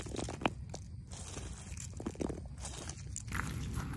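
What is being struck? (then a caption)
Asphalt pavement. Long pink acrylic nails scratch and tap the rough surface of cracked, solid, gritty asphalt pavement. Crunchy, gritty scraping runs throughout, broken by sharp, quick taps with a steady low rumble underneath.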